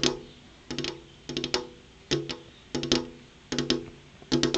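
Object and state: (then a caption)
Glass window pane. Long purple-painted fingernails rapidly tap on a large, solid, flat glass window pane. Six quick bursts of clicky taps each ring briefly with a hollow, tonal resonance, separated by short pauses.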